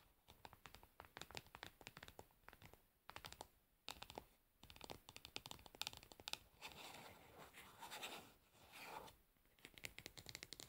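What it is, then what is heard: Plastic cosmetic jar lid. Long pearly nails tap and scratch the top of a pink screw lid on a medium round plastic jar of nail polish remover pads, likely full of pads. Quick, bright, dry clicks come in rapid bursts, with stretches of softer, hissy scratching in between.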